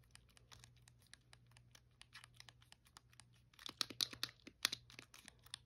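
A blue, hollow plastic Wii controller is held in the hand while fingernails tap and press its buttons and scratch its front casing. The result is a quiet stream of sharp, bright clicks and scratchy ticks over a faint low hum. The clicks grow louder and denser in the second half.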